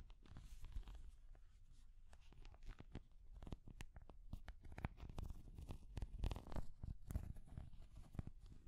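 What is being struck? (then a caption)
Small hard plastic cat figurine. A small translucent orange hard plastic cat figure, held in both hands, is tapped and scratched with long nails. Quiet, irregular clicks and scratchy rustles come thick and fast, each tap short and dry with a soft low thump beneath brief bright transients.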